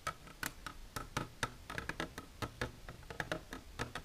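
Long natural nails with silver polish tap continuously on a plastic container. About 19 quick, dry clicks come at an uneven, rapid pace, each with a sharp bright attack and almost no ring. A faint background hiss fills the gaps between taps.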